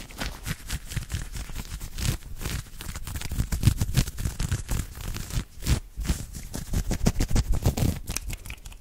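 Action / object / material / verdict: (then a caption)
scrape / knit cotton polo shirt / cotton knit / none. Fingertips and short nails scratch and rub fast with both hands over a soft, open-weave knit cotton polo shirt worn on the chest. A dense, irregular run of quick scratchy strokes carries soft, heavy low thumps beneath faint bright rasping. The strokes stay dry and clipped with no ring between them.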